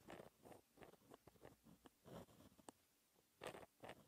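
A white gel pen held in the fingertips scratches across a flat sheet of black lined textured paper while writing math equations. Short, quiet scratchy strokes come in bursts, with a brief bright tick near the middle and louder strokes near the end.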